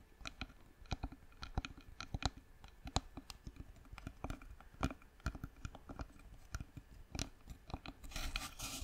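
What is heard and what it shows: Long nails tap the sides of a hollow, light-colored turned wooden jar with a lid, held in both hands. The result is a run of quick, dry clicks and light knocks with a low hollow body and bright ticking edges, each dying away almost at once. Near the end, the taps give way to a denser, bright scratching rustle.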